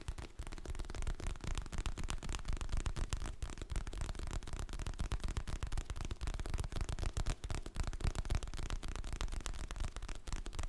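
Fingertips and nails tap and scratch the glossy printed cover of a solid, medium hardcover paper book held in both hands close to the mic. A dense, quiet stream of rapid, irregular taps and scratches continues throughout, each tap a dull, low thump that stops almost at once.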